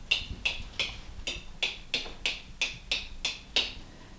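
Eleven sharp, bright taps land one after another on the flat metal canning lids of a group of glass jars, set without bands, to check the seals by sound. Each tap gives a short, high, clear tick that dies away almost at once, and all the jars prove to be sealed.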